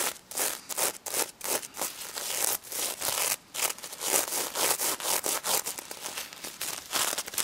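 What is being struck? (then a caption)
Sequin fabric on a stuffed plush toy. Long red nails scratch quickly across the gold sequin side of a stuffed plush pig toy near its snout. The result is a dense run of bright, rustling scrapes that rise and fall in rapid bursts, with a crisp high sheen and almost no low end.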